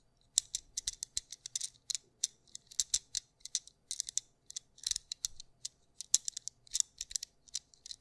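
A small white plastic anti-stress fidget cube with black dots is held in both hands while fingertips click and flick its buttons and switches. The result is a rapid, irregular string of dozens of sharp, dry, high-pitched clicks that stop almost instantly, with virtually no low end.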